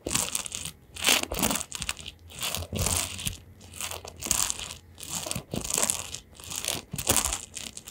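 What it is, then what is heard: Plastic hairbrush with metal pins. A round-backed hairbrush with a printed plastic back and metal pin bristles is held in both hands while fingertips and nails scratch and flick across the pins. Bright, crunchy, crinkling scratches come in irregular swelling bursts, each made of many quick, dry clicks with almost no ring.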